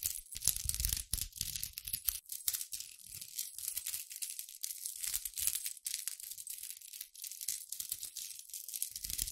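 A chunky silver steel link chain is held and dangled beside the microphone by a hand with long pink nails, its solid metal links shaken and run through the fingers. The links jingle together in a dense, continuous stream of bright, short clinks and rattles, with occasional soft low thumps from handling.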